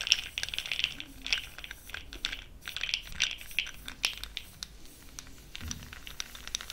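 A fluffy makeup brush swirls and stirs small pastel powder pearls inside an open, full, small clear plastic jar held in one hand with long pink nails. The pearls rattle and click in a dense run of tiny, bright ticks that come in soft surges and sit high in pitch with almost no low end.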